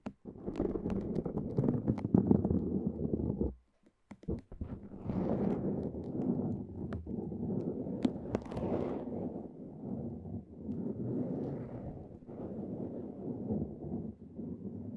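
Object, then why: Cohesive fabric bandage wrap. Long nails peel and rub the loose end of a red cohesive fabric bandage strip against the layers wrapped around the mic. The result is a close, dense, low-pitched rustling and scratching with sharp crackles and clicks, broken by a brief near-silent pause before four seconds, then continuing steadily to the end.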